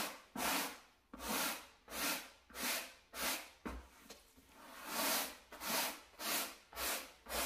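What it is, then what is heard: Carpet mat being brushed. A wooden-backed bristle brush held in a gloved hand is scrubbed back and forth over the pile of a small, solid, flat beige low-pile carpet mat. Each stroke makes a bright, dry, scratchy swish that swells and fades, repeating in a loose, steady rhythm with almost no low end.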